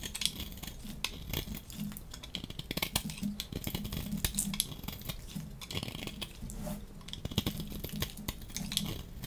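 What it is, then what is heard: Dry soap bar being shaved. A dry yellow striped bar of solid soap, held in the hand, is shaved with a metal utility-knife blade in repeated scraping strokes. The result is a steady run of short, dry, crisp scrapes and ticks with bright high edges over a low rumbling hum, each stroke stopping quickly without ringing.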